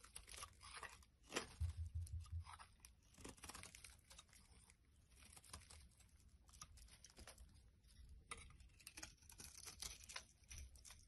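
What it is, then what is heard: Bar soap being shaved. A black utility blade shaves curls off a solid white bar of soap held in the hand. The clip is a steady run of crisp, bright scraping and crackling strokes at an uneven pace, over a soft low rumble.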